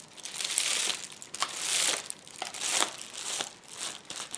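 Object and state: Plastic bubble wrap roll.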